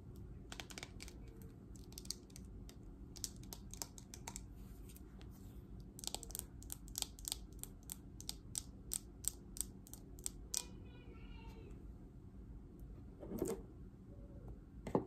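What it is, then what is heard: Plastic paddle hairbrush. Long nails scratch and flick the bristles of a green patterned plastic paddle hairbrush with a hollow plastic body, producing quick, sharp, clicky taps in uneven bursts. The clicks are dry with almost no ring, over a quiet, steady low hum, with a brief softer scrape near the end.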